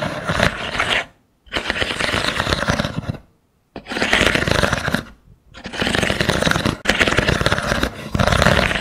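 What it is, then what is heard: Wooden stick mat. Long nails scratch and tap along a small mat of thin wooden sticks set in a dowel frame. The result is dense, dry, rattling scrapes in four bursts, separated by brief silent gaps, with a bright, crackly texture over a light woody body.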